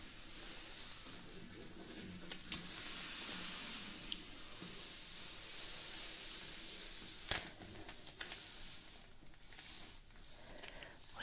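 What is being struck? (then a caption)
Woven fabric tote bag. Long nails and fingertips scratch and rub across a soft, likely padded, patterned woven fabric tote bag near the zipper of its zip pocket. The result is a quiet, steady, bright, hissy scratching texture, broken by a few sharp, brief clicks.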